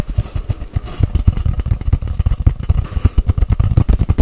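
Long white-painted nails tap rapidly on a long, hollow white-grey cardboard tube, held horizontally and then upright. About 24 quick, deep, hollow thumps follow one another, each with a low boomy tone that dies away almost at once, forming a dense, fast drumming pattern.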